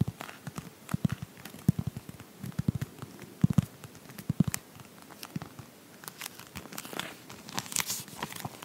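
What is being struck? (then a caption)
Glossy paper magazine cover. Long painted nails tap and scratch across the glossy cover of a Pottery Barn paper magazine held close to the mic in both hands. Quick, dry taps with a low thump sit among soft crinkling and bright scratchy rustles. The taps come irregularly throughout, with a slightly busier scratching stretch near the end.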